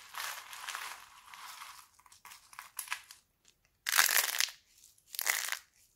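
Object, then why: Thin laundry soap sheets. Thin, brittle red sheets of dried laundry soap are squeezed and crushed in both fists, then crumbled with the fingers into flakes. A long dry crinkling stretch gives way to scattered snaps, then two loud, bright bursts of crunching as the sheets break apart.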